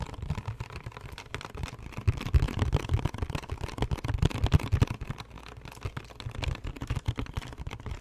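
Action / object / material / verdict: tap / small cardboard candy box / cardboard / none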